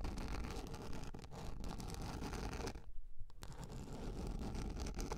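Long nails tap and scratch a large round yellow plastic lid, producing a steady, dense rasping scratch with a heavy low rumble. Near the middle the scratching briefly drops away while a few sharper taps stand out, then the continuous scratching resumes.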